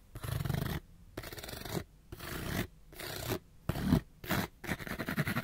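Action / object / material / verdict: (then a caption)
scrape / small printed cardboard box / cardboard / none. Fingernails scratch fast across a small, hollow, printed cardboard light bulb box held close to the microphone. The result is bursts of dry, raspy scraping with short quiet gaps between them, carrying a hollow, low-heavy body beneath the bright scratch.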